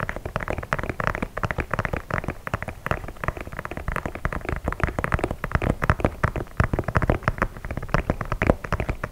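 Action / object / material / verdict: tap / leather sneaker / leather / none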